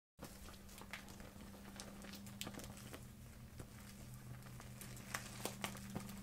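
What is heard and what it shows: A small transparent vinyl zipper pouch full of paint and marker tubes is held in both hands and squeezed and shaken with long red-painted nails and fingertips. Soft, continuous plastic crinkling mixes with sharp, bright clicks and rattles as the tubes knock together, over a steady low hum.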